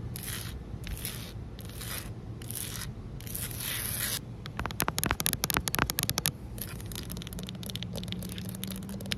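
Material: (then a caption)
Concrete. Long fingernails on both hands scrape and scratch a flat, solid outdoor concrete pavement. The clip opens with slow, rhythmic, bright rasping strokes, then breaks into a burst of rapid, sharp scratching clicks. It settles back into lighter, quicker scraping over a steady low background rumble.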